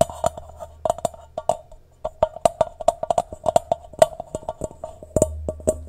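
A medium-sized, hollow, empty stainless steel mixing bowl is held upside down in both hands while fingertips and nails tap rapidly and irregularly on its rounded outer base. Each tap gives a short, hollow, woodblock-like knock with a clear tone around 640 Hz and a brief metallic ring, over a faint low hum.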